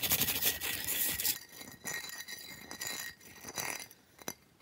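Fingertips and nails scratch and tap the ridged top and edge of a large, flat, rectangular block of solid ice resting on a purple towel. A dense, bright, hissing scratch fills the first second and a half, then gives way to quieter rasping strokes. Near the end come a few sharp, glassy clicks, with a faint steady tone around 2 kHz underneath throughout.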